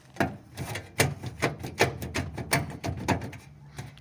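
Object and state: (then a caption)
Loose car running board. The metal running board (side step) of a VW Beetle is shaken back and forth, giving a quick series of uneven knocking rattles as it shifts in its mounting. It is loose, probably from a loose or broken bolt.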